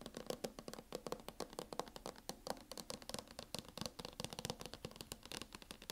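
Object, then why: Metal laptop cover. Fingernails tap quickly and steadily on a MacBook cover, making a dense run of short, dry, bright clicks with a faint mid-pitched tone. Each tap dies away almost instantly, with no ringing between hits.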